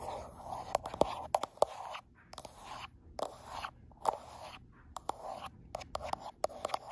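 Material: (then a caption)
Glass. Long acrylic nail tips tap and scratch along the right side of a gold iPhone Pro's frosted glass back while the phone is held to a mirror. Quiet, dry scratching with a midrange rasp around 600 Hz is broken up by sharp, bright clicks that die away almost instantly, with short silent gaps between bursts.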